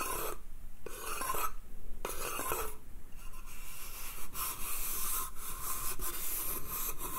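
Fingernails scratch the slats of a small, hollow, empty pine slatted bath crate held in one hand. The result is a dry, bright rasping that comes in short strokes at first, then runs on as steady, gritty scraping with a faint low hollow tone underneath.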